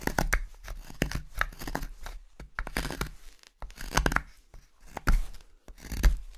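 A solid, pale block of light carving wood, held in the hand as a wooden spoon blank, is carved with a steel knife in repeated slicing strokes that peel off curls of shavings. Each stroke gives a short, dry, rasping shave with a bright edge over a dull low body, coming in an uneven rhythm of about one per second with no ring after.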